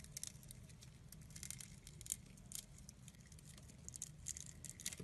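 A utility blade scores the surface of a solid translucent red glycerin soap bar held in the hand and shaves off small cubes. Quiet, crisp, bright scratching and clicking ticks come in a rapid, uneven series over a low, steady rumble.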